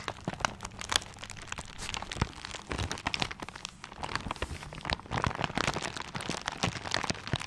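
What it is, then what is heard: Paper-wrapped gift. A paper-wrapped gift is held in both hands, then in one hand, while fingers scratch and rub the paper. The result is a dense, continuous run of bright crinkling and scratchy rustling, with sharp, irregular crackles that stop instantly, over a faint low rumble.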